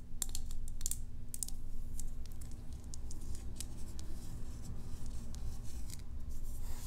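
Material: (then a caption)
Plastic. A small, hollow white plastic tub with a green label and its lid on is held in one hand and tapped with long acrylic nails. Quick, sharp, bright clicks and light scratchy ticks come in an irregular stream over a steady low hum.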